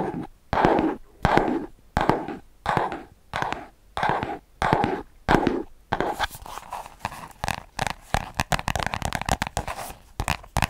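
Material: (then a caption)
Paper. A small spiral-bound paper notebook is held sideways while fingertips tap and scratch along its page edges and spine. Eight separate papery scratching strokes come first, each a short, rough burst centered in the midrange. They are followed by a denser run of quick, dry taps with bright clicky edges.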